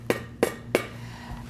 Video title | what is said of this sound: How Do I Know If My Jars Have Sealed? | That is a thud. It is not a musical tone. It's a thud. This is not sealed.